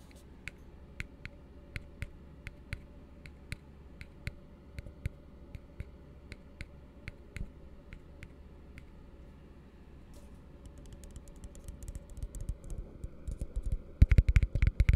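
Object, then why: Upside-down plastic cup. An empty, hollow blue plastic tumbler held upside down is tapped with the fingertips, first as sharp, scattered clicks over a low steady hum. After about ten seconds the taps turn rapid and dense, building to a loud, quick flurry of hollow plastic clicks by the end.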